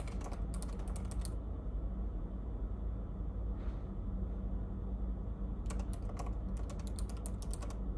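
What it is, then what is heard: Plastic laptop keyboard being typed on. A hand types on the low-profile plastic keys of a silver laptop resting on a café table, with fingertips tapping out quick bursts of bright clicks at the start and again near the end. A pause between the bursts holds a single soft swish, and a steady low hum runs underneath the whole clip.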